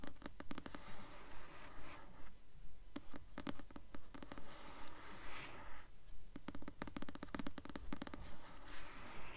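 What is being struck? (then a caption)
Paperback book with glossy paper cover. The glossy paper cover of a blue paperback copy of the novel 'Delirium', held upright, is scratched with long nails. Quiet, steady scratching strokes repeat at about two per second, each a short rasp with bright streaks over a dull low rustle.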